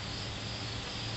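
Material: Nothing is struck.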